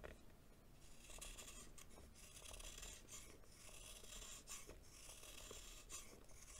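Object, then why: Compacted baking soda lump. A solid lump of compacted baking soda held in the hand is repeatedly shaved with a green knife blade. Each stroke gives a quiet, bright rasping, filing sound over a low rumble.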